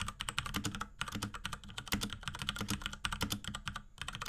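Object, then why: Plastic mechanical keyboard with tactile switches. A small pink 75% Akko x Ducky 3084 mechanical keyboard with Cherry MX Brown switches, plastic keycaps and a plastic case, sits on a desk and is typed on rapidly with the fingertips of both hands. The result is a dense stream of short, crisp clacks with a bright top and a soft low thud under each press, every keystroke dying away almost instantly.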